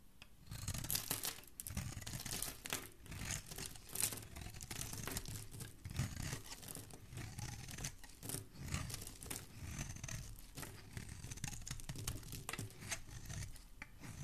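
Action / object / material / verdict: scrape / bar of soap / soap / none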